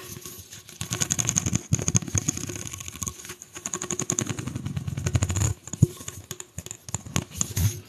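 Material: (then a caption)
Plastic. A single hollow pink corrugated plastic pop tube is bent, its ridges scratched with long nails, then stretched overhead. The sound is a dense run of quick, dry clicks and scratchy ticks over a low rumble and a faint steady high whine, with a few sharper, louder snaps standing out.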